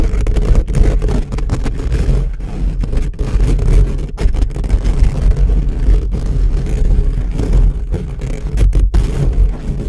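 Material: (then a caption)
Steel mesh. Short fingernails of both hands scratch fast and aggressively at the sides of the hollow silver steel-mesh capsule grille on an upright black USB microphone. The result is a dense, continuous low rumbling scrape, heavy in the bass with a steady hum-like low tone around 59 Hz and little high-end content.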